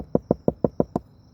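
Seven knocks on a car roof's sheet metal, over a channel left unbonded because it was blocked off from the poured sound deadener. Each knock is a short, hollow thump centered around 480 Hz that dies away almost at once. The spot sounds hollow rather than damped.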